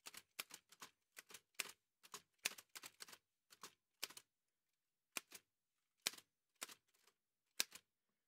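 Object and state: Metal manual typewriter being typed on.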